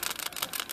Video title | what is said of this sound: How to diagnose the p0171, and p0174 lean bank codes | I just give it a shake make sure it rattles